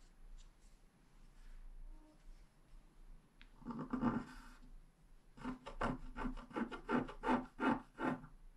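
A wooden stylus scrapes fine lines along the lower right edge of a flat scratch-art page with a black coating, resting on a desk. Faint, sparse scratches give way to a longer rasping scrape, then a quick, fairly steady series of short, dry strokes with a low-mid, papery tone.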